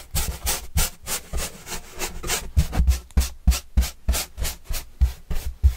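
A pointed paintbrush is brushed in quick, repeated strokes across the surface of a large, flat, white corrugated cardboard pizza box with green edges, held upright and hollow. Each stroke gives a soft, rough rubbing swish with a bright papery hiss over a dull, hollow low thump, at roughly three strokes per second. The strokes fall in a loose, slightly uneven rhythm, each dying away almost at once.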